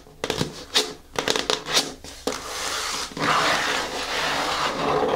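Long nails tap repeatedly on the top face of a closed, hollow, medium-size black glossy cardboard shoe box labeled KICKS. A run of quick, hollow, clicky taps with a short ring is followed by a steady, bright, rasping texture that continues to the end.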